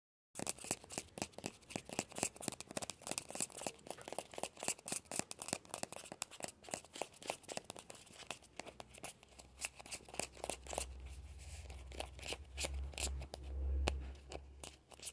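Fingertips and short nails scratch and tickle the surface of a small hollow orange plastic ball with a yellow stripe, resting on a fleece blanket. The result is rapid, irregular, bright scratchy ticks at about four per second, each dying out almost instantly. In the second half, a low rumbling hum builds underneath and swells briefly near the end.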